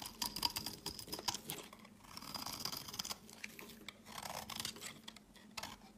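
A utility knife blade shaves a solid, pale green, rectangular Dalan olive oil soap bar into crumbly curls. It makes bright, crisp scraping and crackling strokes with short ticking bursts and a faint high tone. The strokes are quiet and dry, with almost no low end and no ring after each cut.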